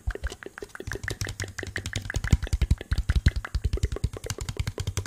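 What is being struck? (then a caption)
Small thin plastic cup. A small, hollow, empty translucent blue plastic cup is held in the hand and tapped and scratched with fingertips and nails. Rapid, irregular taps come in a dense stream of about 38 short hits, each a low, hollow thud with a faint bright click. The hits die away almost instantly, with a soft scratching texture between them.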